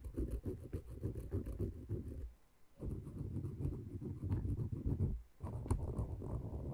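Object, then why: Wooden peg massager and thin wooden stick. A thin wooden stick with a green handle scratches and taps between and over a dome of small, light wooden cylindrical pegs on a wooden peg massager. It makes a dense, low, dry clatter of quick rubbing and tapping in three bursts, separated by two short pauses.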